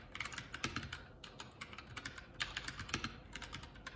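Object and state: Plastic mechanical keyboard.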